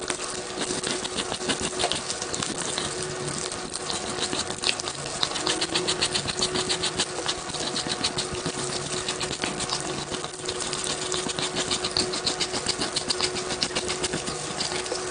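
An orange plastic tool is drawn quickly and repeatedly across a large hand-held block of solid, powdery gym chalk (magnesium carbonate) held over a pink basin of foamy water. The result is a dense, steady stream of bright, gritty scraping strokes in a fast but uneven rhythm, with very little low end.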